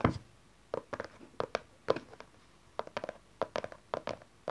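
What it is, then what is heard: Cardboard card box. A small, dark, closed cardboard tarot card deck box is tapped and scratched with long nails and fingertips on its cover and sides. Bursts of short, dry clicking taps with brief scratchy rustles come in quick clusters, separated by quiet pauses. The taps have a light, hollow mid-range body and die away almost instantly.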